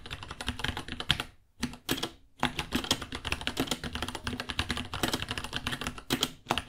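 A small white 66-key mechanical keyboard with Gateron Brown switches ($60), white plastic keycaps, a hollow case and pink underglow sits on a white desk as both hands type on it with their fingertips. Rapid, dry plastic key taps clatter with a bright, clicky edge and die away almost at once, broken by two brief pauses early on before the steady typing resumes.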